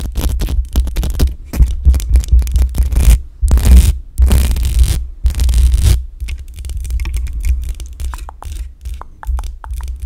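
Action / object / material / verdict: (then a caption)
scrape / metal mesh microphone grille / metal mesh / none. Long acrylic nails scratch and tap the hollow metal mesh grille of a black USB condenser microphone, producing dense, rough scraping with a heavy low-end rumble close to the mic. After about six seconds, the sound thins into quieter, lighter ticks and taps on the grille.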